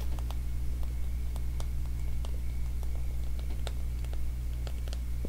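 Fingertips and nails scratch and pluck the teeth of a small, solid, light-wood wide-tooth comb. Soft, brief clicky ticks rise over a steady low hum. A faint high tone is also present.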